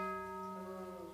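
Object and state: Nothing is struck.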